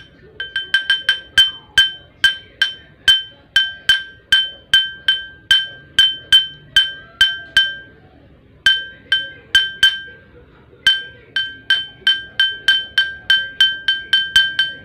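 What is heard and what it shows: A drinking glass is tapped repeatedly with a spoon, giving about 38 bright, clinking taps with a high ring near 3.1 kHz and a lower tone around 1.5 kHz. Each tap fades quickly, and the steady rhythm pauses briefly twice.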